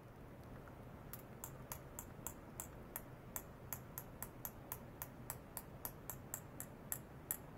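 A small empty clear glass bottle, lying on its side on a white cloth with a sensor probe clipped to it, is tapped lightly and rapidly with a thin stick. About 22 quick taps come at a steady pace over roughly six seconds, each a short, bright, high-pitched tick that dies away almost at once. A faint low hum runs underneath throughout.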